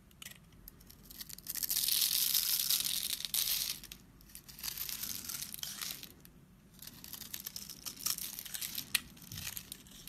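A metal blade scrapes and shaves the surface of a solid orange bar of soap held in hand over patterned paper, and crumbly shavings fall off. The result is a dry, bright, crackling scrape that swells loudest in the first few seconds, then continues in softer, uneven passes.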